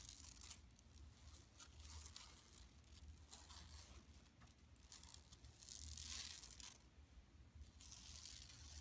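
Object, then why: Woven plastic mesh shopping bag. Long nails scratch and rub across a large, flat, empty yellow woven plastic mesh tote bag lying on carpet. Dry, raspy scratching comes in uneven bright bursts, some brief and others drawn out into longer hissing rubs. A steady low rumble sits underneath throughout.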